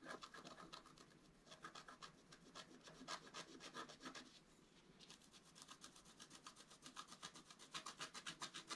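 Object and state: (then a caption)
Scratch art card being scratched. A wooden stylus scratches lines into the black coating of a flat A4-size scratch art card with colored foil underneath, lying on a table and held flat with one hand. Quick, dry scratching strokes repeat at a rapid, uneven pace, bright and hissy with a tone near 1.25 kHz. They ease off briefly just before the halfway point, then pick up again and grow stronger toward the end.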